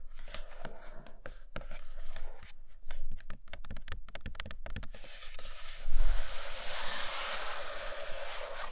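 Long nails tap quickly on the glossy top of a closed, hollow, large flat printed cardboard iPad Pro box, making a rapid run of dry, hollow clicks for about five seconds. The tapping then turns into a steady, bright, hissing scratch across the same surface until the end.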